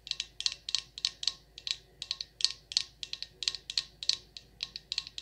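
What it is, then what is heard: Glass candle jar tapped with nails. A glass jar candle filled with wax, labeled Champagne Toast and fitted with a dark lid, is held in the hand and tapped on the glass with long acrylic nails. The result is a quick, irregular series of sharp, bright clicks, often landing in pairs. Each tap dies away almost instantly, with virtually no low end.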